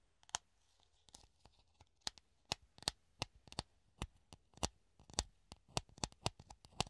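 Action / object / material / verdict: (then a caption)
tap / clear plastic funnel / plastic / none. A hollow clear plastic funnel held in the hand is tapped and scratched with the fingertips and nails, making an irregular run of sharp, bright clicks and brief scratchy rasps. Each tap dies away almost at once, over a faint steady low hum.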